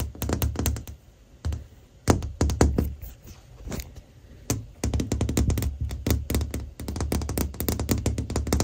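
Fingernails tap quickly across the back of a hand-sized, hollow, transparent plastic phone case with a white flower print, fitted on the recording phone, and near its camera. The result is rapid bursts of dull, low, close-up thunks with short taps, broken by brief pauses.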